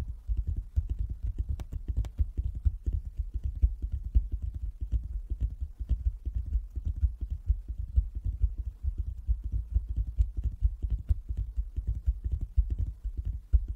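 Fingers tap on a wooden table, making a fast, uneven run of dull, low thumps. Each thump dies away almost at once, with a faint click on the sharpest ones.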